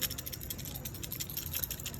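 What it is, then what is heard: Failed refrigerator compressor start relay (rattles). A removed compressor start relay from a Vissani refrigerator that was not getting cold is shaken by hand, giving a fast, continuous loose rattle of bright, clicking taps over a low rumble. The rattle marks the relay as failed; replacing it got the fridge working again.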